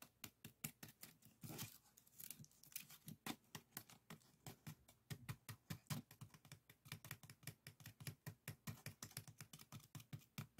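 Fingertips and nails scratch and tap along the weave of a small, hollow, empty, cone-shaped bokjori rice scoop woven from thin bamboo strips with colored strips, held in one hand, while a second scoop sits unused nearby. The result is a quiet, steady run of quick, dry taps and brief scratchy rustles, each with a soft low thump and a crisp bright edge that stops almost instantly.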